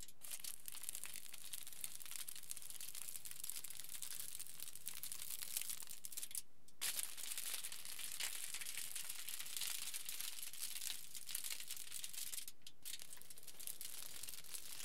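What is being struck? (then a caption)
Aluminium foil sheet. Fingertips of both hands pinch and crumple a pleated aluminium foil sheet lying flat. A dense, bright, continuous crinkling runs throughout at a quiet level, with brief pauses near 6.5 and 12.7 seconds.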